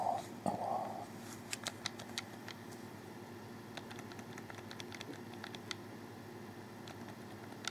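Fingers press the buttons and D-pad area of a hollow black plastic Xbox 360 controller held in both hands, with fewer clicks than in other stretches. Sparse, sharp, bright plastic clicks stand out over a steady low background hum, with a brief mid-pitched tone near the start.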